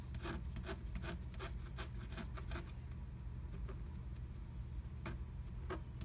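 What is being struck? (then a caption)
Wax-coated scratch art paper scraped with a wooden stylus. A wooden stylus scratches the coating of a flat black-coated scratch art sheet inside a butterfly stencil cutout. Short, bright, dry scratching strokes come in quick, uneven bursts over a steady low rumble, growing sparser in the second half.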